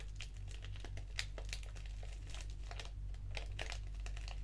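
A small, flat black foil-lined paper tea sachet of Organic English Breakfast, with a tea bag inside, is crinkled with the fingertips and torn open at the top edge with long nails. Quick, uneven bursts of bright, crisp crackling and rustling sit over a steady low hum.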